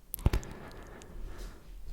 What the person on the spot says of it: On identifie le mur en tapotant dessus. Donc là, tu tapotes dessus. Et là, ça sonne plein. Bah oui, en plus c'est un mur d'extérieur, donc là, on savait déjà que ça allait sonner plein.